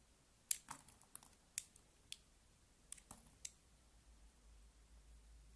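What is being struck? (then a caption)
Bar of soap cut with a small knife. A small utility knife shaves curled strips off a palm-sized solid pink bar of soap held in one hand, with the shavings piling up on a wooden table. About seven quiet, sharp, bright clicking scrapes sound at an irregular pace, each dry and short with no ring. A faint low hum continues underneath as the clip ends.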